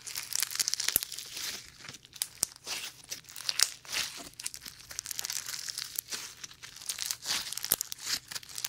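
Bare fingers knead, stretch and squeeze a fist-sized lump of sticky, translucent slime packed with small white polystyrene foam beads, held close to the mic without touching it. The result is a dense, bright crackling and crinkling with rapid tiny pops and short squishy swells in irregular bursts, almost entirely high-pitched with no low end.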